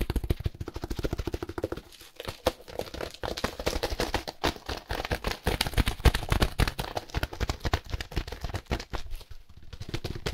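A small, solid, dense block of dry compressed hay wrapped in clear plastic film with a paper label is scratched, squeezed and tapped by hands in grey and black work gloves. The result is a fast, irregular stream of crinkly film rustles and dry hay crackles, mostly low and thuddy with only a little brightness on top.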